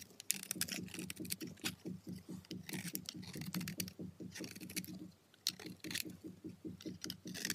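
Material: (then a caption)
Soap. A dark steel blade scrapes and shaves powdery flakes off the edge and surface of a solid white soap bar held in the fingers. A quick, steady run of short, soft scraping strokes with a low, muffled body and bright, crisp hiss pauses briefly about two-thirds through, then resumes.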